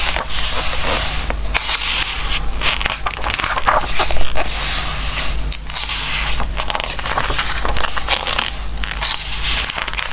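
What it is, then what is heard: Glossy paper book pages being rubbed and turned. A flat hand and fingertips rub across and turn the glossy pages of an open Christmas craft book resting on a wooden table. The result is continuous squeaky, crackling paper rubbing with bright hiss and brief swells as pages shift, over a steady low hum.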